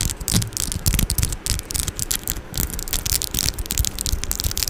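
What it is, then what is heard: Metal microphone grille. Long orange acrylic nails scratch and tap the metal mesh grille of a Blue Yeti microphone. Rapid, dense bursts of bright, hissing scrapes mix with low, thumpy taps that die away almost instantly. The sound forms a continuous, crackling texture.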